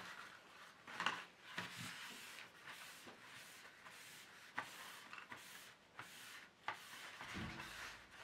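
An empty, long black plastic paint tray insert is held at the edge with one hand while the other wipes and rubs its surface with a tissue. Soft, airy rubbing and scuffing run throughout, broken by seven brief, sharper clicks that fade quickly. Near the end, a low, dull bump sounds.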